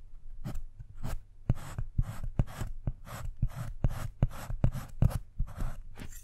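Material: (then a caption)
Chocolate. A wooden-handled metal carving tool scratches letters into the squares of a segmented solid dark chocolate bar, leaving curly chocolate shavings. Quick, irregular scraping strokes come as dry, bright hissy bursts, each punctuated by sharp clicks and soft low thumps, over a faint low hum.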